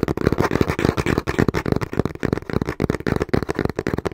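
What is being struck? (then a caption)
Cardboard box. Fingertips and short nails tap quickly and lightly scratch the front face of a small, hollow, brown cardboard box held in both hands. The result is a fast, uneven stream of dull, hollow thumps centered in the low-mid range, each dying away almost instantly, with only a faint papery scratch above.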